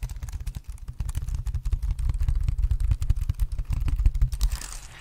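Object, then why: Plastic wireless keyboard. A black plastic wireless keyboard is held against the microphone while its keys are tapped and its case is scratched with the fingers. Rapid, dense, dull taps with deep low thumps run throughout, each dying away almost instantly. Near the end a brighter, hissing scratch rises over the taps.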